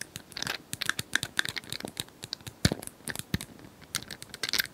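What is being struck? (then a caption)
Plastic cylinder puzzle toy. Long nails tap and scratch across the colored square tiles of a hand-sized plastic cylinder puzzle toy held in both hands. The result is a rapid, uneven series of sharp, bright clicks with short dry scratches between them.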